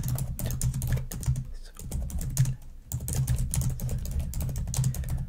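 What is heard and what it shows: Long nails type fast on the keys of a black plastic laptop keyboard, producing a steady stream of quick, crisp clacks over a low, soft thump. The typing briefly thins out twice before resuming at full pace.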